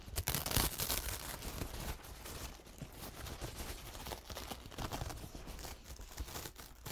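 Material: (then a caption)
Paper. A thin, soft, crumpled paper towel covered in dried paint is held in both hands while fingertips unfold it, crinkle it and rub the paper. A loud, bright burst of crackling crinkles opens the clip, then settles into quieter, continuous rustling and scratchy rubbing with irregular small crackles.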